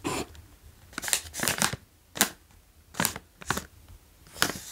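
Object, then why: Foil-lined plastic chip bag. A medium-size green OLW Dill & Gräslök chips bag, made of foil-lined plastic and full of chips, is tapped and traced on the front with fingertips while hands squeeze it. Bright, dry crinkling bursts come in a series of separate short crackles with quiet pauses between them.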